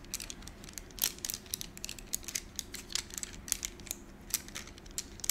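A bundle of about ten thin, solid gold-coated wax candles is held in the hands and rubbed and rolled against each other with fingertips and short nails. The result is a quiet, bright stream of tiny clicks and crinkly scratches, with very little low end and a faint steady hum underneath.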